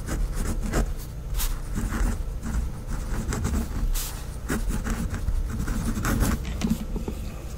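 A pink fineliner pen, held in fingers with long decorated nails, writes words on white lined notebook paper on a pad. Steady scratching strokes carry a low, rumbling undertone, broken by brief brighter scrapes.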